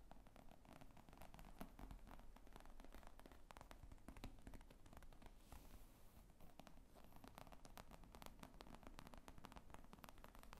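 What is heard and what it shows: Long nails tap and scratch across the top of a padded, hollow black leather laptop bag with zippers lying on a table. A quiet, steady stream of quick, dry taps and soft scratchy rustling continues throughout, with a low, muffled thud to each tap and almost no ring.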